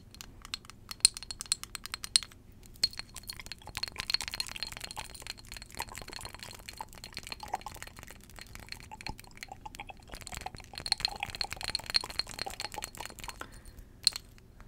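Long jeweled acrylic nails rapidly tap and scratch a small faceted glass perfume bottle, partly filled with amber liquid and held in both hands. The result is a dense stream of crisp, bright clicks and clinks, each cut off almost instantly, with occasional sharper taps over a soft scratchy hiss.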